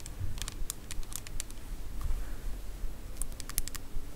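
Long acrylic nails tap a small, filled, transparent plastic shower gel bottle with red liquid and a green plastic cap, held in the hand. Quick, bright clicking taps come in two uneven bursts, one near the start and one near the end, over a steady low rumble.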